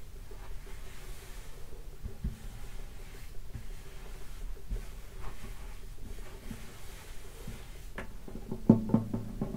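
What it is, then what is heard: Acoustic guitar body, hollow wooden top. Fingertips lightly tap the top of a hollow wooden acoustic guitar lying in its open case. The soft, hollow taps are dull and low with almost no ring. The last few taps near the end come through noticeably louder.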